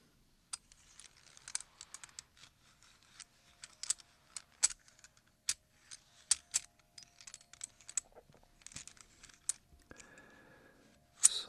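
Fingertips of both hands shuffle and rub a loose pile of mixed old US silver coins, small and large solid metal pieces resting on a black cloth. The coins jingle against each other in scattered, sharp, bright metallic clinks that die away almost instantly, with soft rustling between them. A louder burst of clinking closes the clip.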